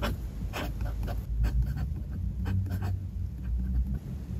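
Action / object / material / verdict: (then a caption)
scrape / metal fountain-pen nib on notebook paper / paper / none. A fountain pen's metal nib scratches steadily across the page of a spiral-bound paper notebook on a desk as a hand writes lyrics. The scratching comes in short, bright strokes over a low, steady rumble.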